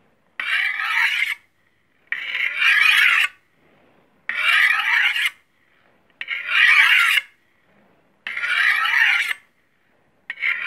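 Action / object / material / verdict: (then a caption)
scrape / steel knife blade on a steel honing rod / steel / none. A long, solid steel chef's knife blade is drawn along a steel honing rod in sweeping strokes, each making a bright, rasping metallic scrape of about a second. Six strokes come at a steady rhythm with quiet gaps between them, and the last is cut off at the end.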